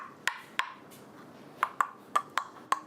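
Oyster shells are tapped against each other to sort them by ear: seven short, dry clicks with a hollow tone around 1.1 kHz, each dying away almost instantly. Instead of the clear, pebble-like knock of a live oyster, this slightly open one sounds hollow, so it is judged dead and discarded as not edible.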